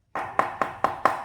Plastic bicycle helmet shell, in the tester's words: dari segi plastik tuh lebih tebel loh daripada yang ini